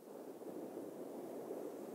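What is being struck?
Nothing is struck.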